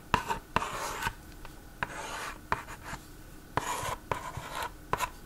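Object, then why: Plastic magnetic drawing board and stylus. A yellow plastic stylus scratches and rubs across the screen of a plastic magnetic drawing board toy with an orange frame. Bursts of dry, raspy scraping with a steady midrange tone are punctuated by eight sharp little clicks as the stylus strikes the board, with quiet gaps between strokes.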